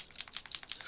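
A new Tuli Art acrylic paint marker is shaken to mix the paint inside before priming. It makes a quick series of short, bright, high clicking rattles with no low end.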